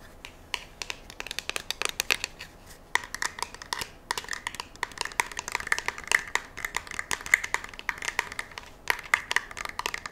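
A curved black polymer rifle magazine is turned in the hands and scratched with long nails along its ribs and edges. The result is a dense run of quick, dry scratches and clicks with a bright, raspy tone centered around 2 kHz and almost no low end.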